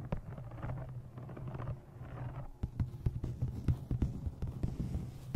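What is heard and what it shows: Fingernails tap the top edge and cover of a thick brown embossed leather journal held in front of a microphone. The taps are soft, dull and very short, sitting almost entirely in the low range over a steady low hum, with a rustling stretch early on before sharper, separate knocks follow.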